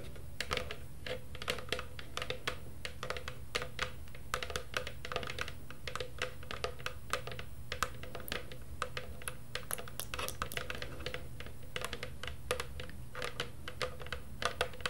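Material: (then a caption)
Plastic. A hollow, medium black plastic cauldron with a lid-like rim and side handle is tapped rapidly on its body with long purple nails. The result is a fast, uneven stream of short, dry, clicky taps that die away almost instantly, over a steady low hum.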